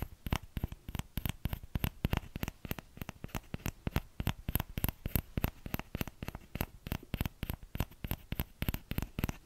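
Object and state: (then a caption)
Plastic ladle tapped. Fingertips tap the hollow bowl of a small orange plastic ladle, making rapid, irregular taps. Each tap is short and dull with a low thump and a faint bright click, and dies away almost instantly.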